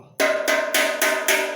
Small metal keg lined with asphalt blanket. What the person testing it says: melhorar esse som aí ó ó som de lata acabou